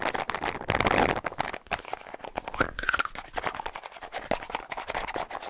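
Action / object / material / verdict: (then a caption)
scrape / small plastic deodorant stick with plastic cap / plastic / none. Fingernails scratch and tap quickly on a small, hollow white plastic deodorant tube with a light blue plastic cap, hitting both the cap and the body. The result is a dense stream of sharp, dry clicks and crinkly scraping with short, bright transients. It is mostly in the mids and upper mids, with a tonal peak near 1.5 kHz and very little low end.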